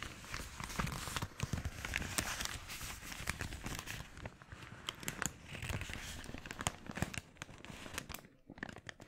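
Fingers crumple and crinkle an empty, glossy red, thin polyethylene mailer bag into a bunch while holding it over a wooden board. A dense stream of sharp, bright crackles and rustles runs throughout over a low, rumbling body, with the crinkling thinning out and dropping briefly quiet near the end.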